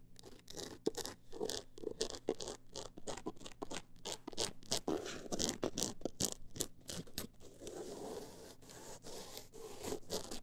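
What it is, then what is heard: Scratching on a textured hardcover book cover. A single long acrylic nail scratches the woven-texture cover of a closed hardcover book held in the hands. Quick, dry scraping strokes repeat steadily, each with a bright, rasping texture and almost no ring-out.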